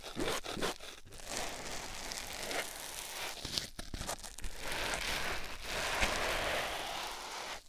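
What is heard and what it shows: A hand squeezes and rubs a white foam sponge block on a silicone ear microphone. The result is a dense, continuous crinkling and rustling texture with soft crunchy scratches and brief quieter gaps.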